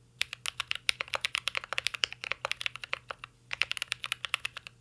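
Fingertips type continuously on a mint-green Cyberboard R3 mechanical keyboard with plastic keycaps and an aluminum case. A rapid run of about 37 crisp, bright clacks sounds with a short pause near the middle. Each keystroke is a sharp, dry tap that stops almost instantly.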